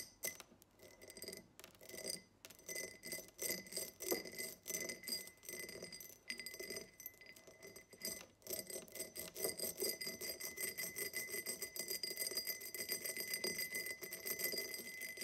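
Fingernails tap quickly on the sides of a tall, empty cut-glass tumbler with a diamond pattern standing on a table. The result is a stream of bright, high-pitched glassy clicks with a faint ringing tone and very short decay, growing denser and steadier in the second half.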